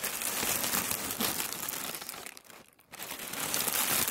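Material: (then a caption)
Tissue paper. A large wrinkled sheet of thin white tissue paper on a wooden table is rubbed and crinkled with fingertips. It makes dense, bright, papery crinkling that briefly fades almost to silence near the middle, then picks back up at full intensity.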